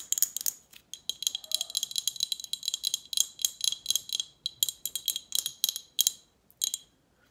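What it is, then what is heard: Glass bottle. Long acrylic nails tap rapidly on an empty, hollow glass Snapple bottle with a label and metal cap. The irregular bursts of sharp, bright clicks carry a thin glassy ring. Each tap dies away almost instantly, with no low-end body.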